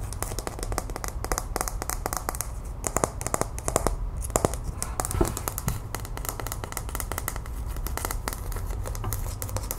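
A small, hollow, empty plastic capsule egg, one half opaque mint green and the other clear, is held in the hands and tapped and scratched with long white-painted nails. Rapid, dry clicking taps and brief scratches come in quick, uneven bursts over a steady low hum. Each tap dies away almost instantly.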